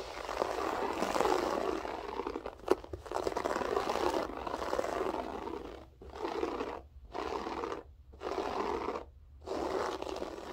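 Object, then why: Loop-pile floor carpet. Long acrylic nails scratch across a flat beige loop-pile carpet with a textured pile, producing a steady, dry, crunchy scraping concentrated in the mids. A brief sharp click stands out early on, and in the second half the scratching breaks into separate strokes with short silent gaps between them.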